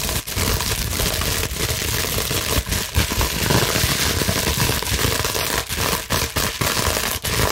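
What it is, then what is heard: Plastic bubble wrap scratched. Long nails scratch quickly across a clear plastic bubble wrap sheet, making a dense, continuous crackling and crinkling that fills both the bright highs and the low end. The texture stays steady and loud throughout, broken only by brief dips between strokes.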